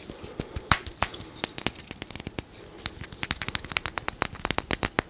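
Fingernails tap and scratch along a small translucent plastic bottle or tube with green contents, close to the microphone. About 29 short, dry, bright clicks and ticks come in an irregular, quickening patter, with a faint scratchy hiss between them.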